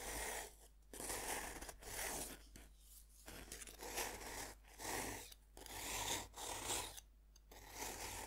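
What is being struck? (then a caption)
Pressed-powder bath bomb. A metal knife tip scrapes and digs into the top of a solid, dome-shaped pink pressed-powder bath bomb held by hand. Repeated gritty, bright scraping strokes crunch through the powder, separated by brief quiet pauses.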